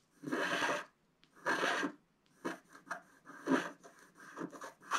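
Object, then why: Black-coated scratch-art card scratched with a wooden stylus. A wooden scratch stylus, held in the fingers, scratches lines into the coating of a flat, black-coated scratch-art card about A4 in size lying on a table. Two long, steady scratching strokes are followed by a quicker run of shorter rasping scrapes. The strokes are dry and papery with a bright, hissy edge.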